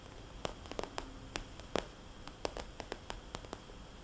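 Long nails tap on a small, glossy red polka-dot vinyl cosmetics bag with a soft, hollow body and trace circles across its surface. The result is a string of short, dry ticks over a low hiss, with a few slightly louder clicks, each dying out almost instantly.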